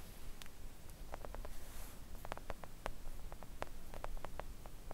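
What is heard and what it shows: Long acrylic nails of both hands gently tap a thin, solid, flat pink silicone nail art mat lying on a table. Quiet, soft, irregular clicks with short, dry decay sit over a steady low rumble and faint hiss.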